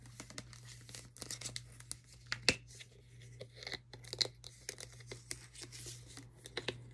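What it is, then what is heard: Plastic shampoo bottle tapped and scratched. Long nails tap and scratch the label and body of a white plastic OGX shampoo bottle with a gold cap, which is hollow and appears filled. The result is an irregular series of short, bright, crinkly taps and scratchy rasps that stop quickly, with the sharpest taps around the middle, over a steady low hum.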